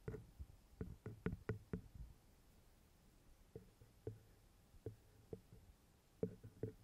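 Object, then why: Metal XY microphone capsules on a handheld recorder. Fingers with long red-painted nails tap and knock on the small, hollow metal XY microphone capsules of a handheld recorder. About a dozen soft, dull, low knocks come in a quick cluster, then more sparsely. Each is short with almost no ring, separated by near silence.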